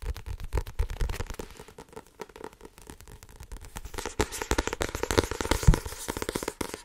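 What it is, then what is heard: Paperback book with card cover. Long nails tap and scratch rapidly on the card cover of a small blue-covered paperback book. Dense, uneven runs of dull low taps mix with crackly scratching, growing louder and brighter in the second half.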